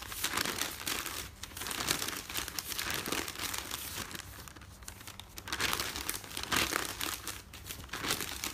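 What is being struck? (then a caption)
Folded newspaper paper. Fingertips and nails fold and crumple the top sheets of a folded stack of newspaper resting on a bed. Dense, bright crinkling and rustling runs throughout in rolling swells, easing to a softer patch around the middle before building again.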